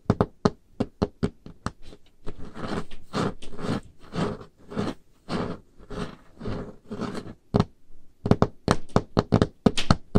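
Painted fingernails tap on a large, solid, dark-stained wooden table top, making quick, dry, low clicks with almost no ring. In the middle the nails scratch the surface in longer rasping strokes, then the fast tapping returns.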